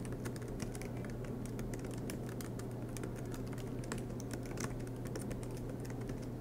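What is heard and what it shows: A silver MacBook Pro laptop with low-profile black plastic keys set in an aluminium body rests on a desk mat while both hands type continuously, fingertips tapping the keys. The result is a steady stream of quick, light, bright clicks over a constant low hum.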